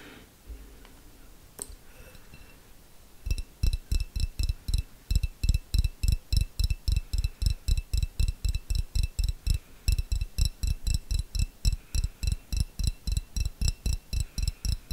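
A small, clear, hollow glass jar with a little contents at the bottom is held close to the mic and tapped with long fingernails. After about three seconds of quiet handling, a steady run of about 46 quick taps follows, each a deep, close thump topped with a bright click and a faint glassy ring. The taps come at roughly three and a half per second and die away almost instantly.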